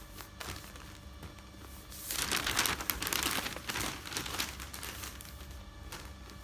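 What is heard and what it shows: Fingertips with long nails smooth and rub the pages of a large, thin newsprint newspaper spread flat on a bed, then lift and turn them. Soft, bright rustling and crinkling swell into a louder burst of paper crackle in the middle as the pages are turned, then settle back into quieter rubbing.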